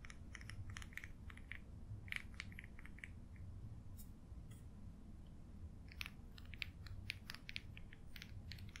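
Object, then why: Metal pen nib on a paper page. A quill pen's metal nib, held in the fingertips, scratches short strokes across an open paper sketchbook page covered in ink marks. Quick, bright scratchy bursts repeat throughout over a steady low rumble, with the strokes cutting off sharply and never ringing.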